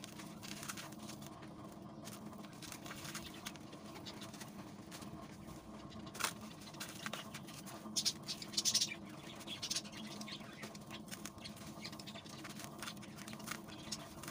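Bare hands and fingertips squeeze, crumble and rub loose, dry, gritty cement-sand powder with crumbly clumps in a large plastic basin. A steady, bright gritty crackle runs throughout, with a few louder crunches near the middle.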